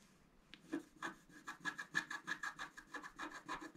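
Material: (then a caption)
Coated paper. A scratch-art card is pressed down by one hand and scratched with a wooden stylus. About 15 short, dry scratching strokes follow one another at a quick, uneven pace, each a brief raspy burst with a faint whistling tone near 1.7 kHz and bright hiss on top.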